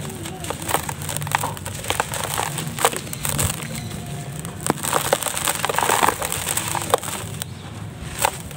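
Hands with cement-dusted fingertips grip, squeeze and crumble grey, grainy, solid dry cement chunks a few centimetres across in a terracotta-coloured bowl, with powder falling off. A steady gritty crunching runs throughout, broken by frequent sharp, dry snaps and crackles that die away almost instantly. The chunks break apart into crumbs and dust.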